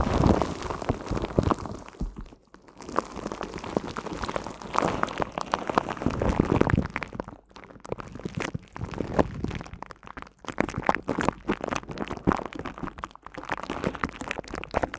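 Long cream-coloured nails scratch and tap, with both hands, on the hollow, hand-sized silver woven metal mesh head of a studio microphone. The result is a dense, crackly patter of many quick, dry clicks and scrapes, mostly low and muffled, rising and falling in bursts with brief quiet gaps.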